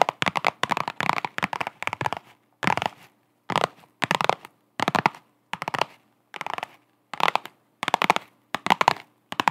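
Long acrylic nails tap and scratch a flat holographic faux-leather vinyl zip pouch held in both hands. Short bursts of crisp, crackly tapping and scratching come in quick clusters separated by brief silences. The sound is dry and close, centered in the midrange with a bright edge.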